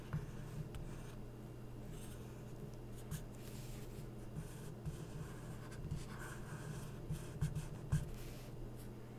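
A felt-tip permanent marker is rubbed across an open glossy paper magazine spread, tracing a second figure while fingertips hold the page. Quiet, steady scratchy strokes sit over a low, constant hum, with a few brief louder ticks as the tip lifts and presses back down.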